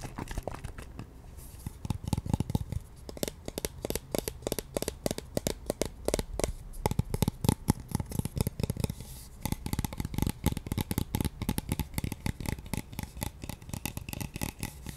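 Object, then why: Plastic bottle. Long nails tap and scratch along the sides of a pink translucent plastic toner bottle with a white cap, partly full of liquid. A rapid, steady stream of short, dry clicks and light scratches is heard, mostly dull and low with only faint brightness on top. Each tap dies out almost instantly.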